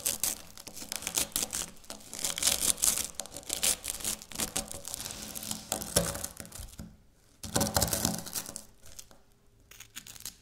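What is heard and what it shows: A piece of dry layered wafer biscuit is scratched and crushed by long natural nails on a stone countertop. It makes dense, bright, crunchy tearing and crackling, with a brief quiet pause before a final burst of crunching that trails off into softer scratches.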